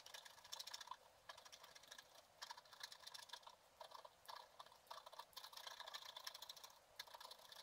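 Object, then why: Black-coated scratch art paper card scraped with a wooden stylus. A pointed wooden stylus held in the fingers scratches away the black coating of a flat scratch art paper card, printed picture beneath, lying on a table, in short strokes. Dry, bright, crackly scratching comes in quick bursts separated by brief pauses, with no low end and almost no ring after each stroke.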